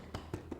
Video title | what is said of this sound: Art Glass Today Episode 9 | and I want to point out something if I tap this you can hear that some of the glass is loose in here